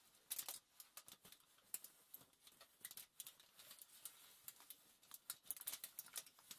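Long nails tap rapidly and scratch across a crumpled sheet of thin aluminium foil lying flat on a table. The result is a quiet, dense stream of bright, crisp crackles and ticks with almost no low end, each one dying away instantly.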